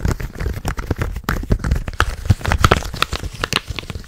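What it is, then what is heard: Plastic game controller. A purple hollow plastic gamepad is handled with both hands while fingertips tap and click rapidly across it. The result is a dense run of short, dry taps and clicks with a bassy, hollow thump, plus light crinkly rustling and a few brighter clicks.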